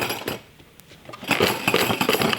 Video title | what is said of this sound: UNBOXING an OLD Magic Set! (TRICKS REVEAL) | Sounds like there's some metal in there.